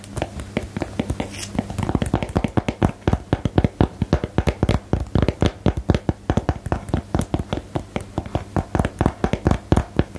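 Long nails and fingertips tap close up on a small, hollow, rectangular cardboard box for the "Geheimakte" card game. The taps are dry, short and hollow with a low-heavy body, starting soft and sparse, then becoming a quick, steady run of about 56 distinct taps.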